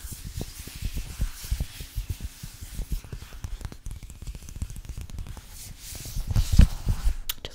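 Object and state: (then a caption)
Plastic zip pouch being zipped and scratched. A translucent, frosted plastic Sephora zip pouch is zipped open and closed and scratched with long fingernails. It makes a dense, low, rapid crackling and rustling texture of quick ticks with faint bright hiss, swelling to a louder scrape near the end.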